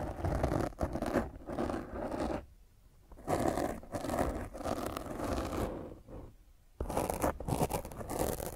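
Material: Foam.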